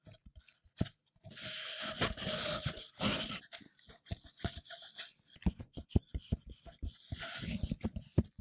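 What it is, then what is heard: Hollow empty cardboard tube. Black-gloved fingertips tap and rub a plain brown cardboard tube, hollow and empty and about the size of a paper-towel roll, held up close. Long, bright, papery rubbing swishes alternate with quick, dull, low-pitched taps that stop sharply, ending in a run of rapid taps with more rubbing between them.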